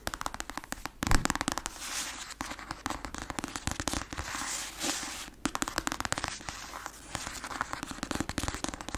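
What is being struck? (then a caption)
Paperback book with glossy cover. Long acrylic nails tap fast on the glossy cover of a black paperback novel, a solid paper block. The result is a dense, crackling stream of sharp, dry clicks with very short decay, broken by brief pauses and a few louder taps.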